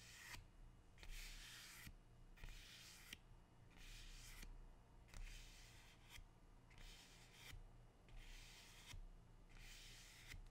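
A large, dark green, glossy, leathery rubber plant leaf is held close and rubbed and stroked with fingertips and dark-painted nails. Repeated soft, bright, papery swishes rise and fall over a steady low hum.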